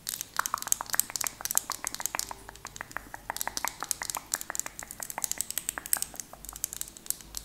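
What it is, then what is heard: Plastic lip gloss tube. A small, slim purple plastic lip gloss tube with a black cap is held in both hands and tapped and scratched with long painted nails. About 47 quick, bright clicks and light scratches sound over 7.5 seconds, each dying away almost instantly, with the energy mostly high-pitched and very little low end.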